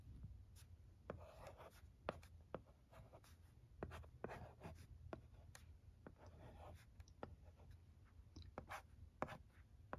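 A pencil-shaped stylus writes letters on a flat plastic LCD writing tablet resting on carpet, making quiet scratchy strokes broken up by sharp, dry taps on the screen. The taps are brief clicks with almost no ring, and a soft low rumble sits underneath throughout.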